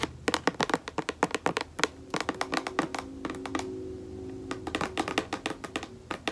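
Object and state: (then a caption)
Plastic lotion bottle. Long nails tap quickly on the labeled body of a white plastic lotion bottle held sideways, making rapid, crisp, hollow clicks with very short ring. A faint steady low tone hums beneath the taps through the middle of the clip.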